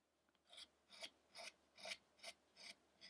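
A chisel scrapes and cuts the surface of a solid light-wood carved Buddha statue of the ascetic Shakyamuni, held steady by one hand. Seven short, bright, rasping strokes come in a loose rhythm, each ending quickly with no ring.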